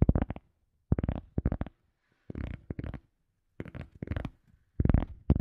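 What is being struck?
EVA foam sponge.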